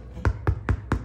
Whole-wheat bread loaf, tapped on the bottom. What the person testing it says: on a l'impression que ça sonne creux mais à l'intérieur